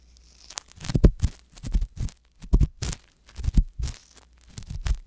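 A wooden ear pick tip scrapes inside the ear canal of a soft silicone ear mounted on a white box binaural microphone. The result is a run of close, dull scraping and crinkling bursts in uneven clusters, heavy with low rumble and only faint bright hiss, with short quiet gaps between strokes.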